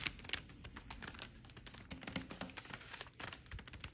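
Long red nails tap and scratch a flat white paper shopping bag with a red ampersand print lying on a table. A quick, irregular run of light, dry taps mixes with bright papery scratching and crinkling, each contact dying away almost at once.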